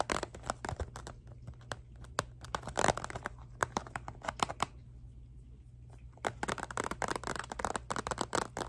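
Long nails tap and scratch the hard surface of a rectangular clear plastic box with a purple item inside, held in both hands. Sharp, dry clicks and crinkly scrapes come in quick bursts, with a quieter stretch of soft scratching in the middle before the tapping picks up again over a faint low hum.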